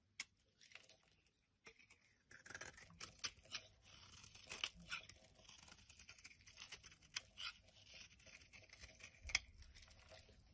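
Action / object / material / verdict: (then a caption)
scrape / bar of solid soap / soap / none. A black-handled metal blade scrapes and carves flakes from the surface of an opaque yellow solid soap bar held in the hand. The result is a quiet run of crisp, bright scraping and tearing rasps with sharp little clicks, with almost no low end.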